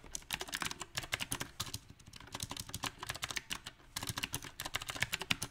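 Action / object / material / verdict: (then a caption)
tap / mechanical keyboard with round plastic keycaps / plastic / none. Fingertips type on a backlit compact mechanical keyboard with round typewriter-style plastic keycaps on a silver metal frame. The result is a dense, uneven run of short, bright clicky keystrokes that die out almost instantly, with a brief lull near the middle.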